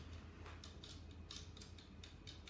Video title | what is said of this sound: Jacqueline Heaton - Black Cherry Scones and Blueberry Muffins - FB Flashback 28/05/20 | can you hear that tapping? Can you hear it? It's like porcelain, isn't it?